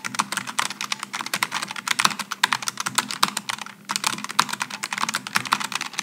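Fingertips type continuously on a Logitech G915 low-profile mechanical keyboard with aluminum and plastic keycaps, producing a rapid stream of short, bright key-switch clicks. A faint low hum sits under the typing, which briefly pauses just before the four-second mark and then resumes.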